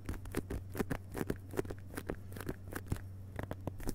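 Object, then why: Hardcover book with paper dust jacket. Both hands rapidly tap the fingertips on a solid hardcover book with a glossy paper dust jacket lying flat on carpet. The result is a quick, uneven run of soft, dull taps with a faint papery edge that stop dead, over a steady low hum.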